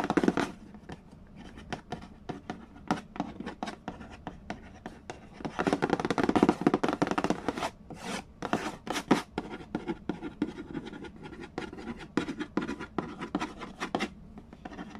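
Fingertips and nails rapidly tap and scratch the lid of a hollow cardboard Mastermind board game box. The result is a dense run of short, dry, papery clicks and scrapes with little ring, growing busier and louder in the middle before settling back into quick tapping.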